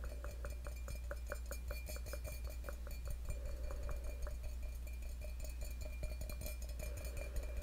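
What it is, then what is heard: Stainless steel cup. Fingertips and short nails tap the outer wall of a hollow, empty stainless steel tumbler held close to the microphone. Quick, light taps each give a short metallic ring pitched around 613 Hz with faint bright overtones. A steady low hum runs underneath throughout.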